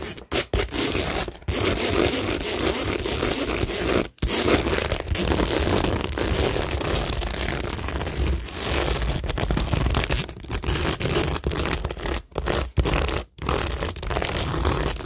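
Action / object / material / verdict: scrape / cork board with plastic rhinestones / cork, plastic / none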